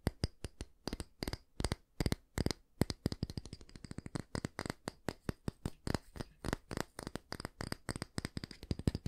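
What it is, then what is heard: Wooden hair brush, tapped and scratched. Fingernails tap and scratch the solid wooden back of a small oval wooden bristle hair brush, then move on to its bristles. The result is a fast, steady run of short, dry clicks and crisp ticks with scratchy rasps between them. Each tap stops instantly with no ring.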